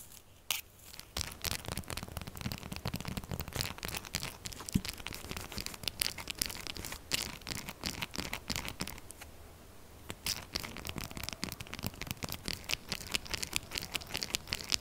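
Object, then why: Textured bar of soap scratched with fingernails. Long acrylic nails scratch fast and hard across a solid, rectangular, purple textured soap bar, making a dense stream of dry, bright, crinkly scratches with a faint low rumble underneath. The scratching runs nearly nonstop, with a brief quieter lull a little past the middle before it picks up again.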